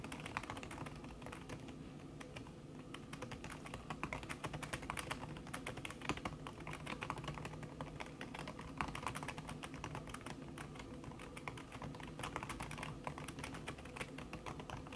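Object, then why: Laptop keyboard with silicone key cover. Fingertips with long red nails type fast on a backlit laptop keyboard in a silver aluminum body, its keys covered by a thin red silicone skin. The result is a quiet, steady stream of soft, dampened tapping clicks that die away quickly, over a low background rumble.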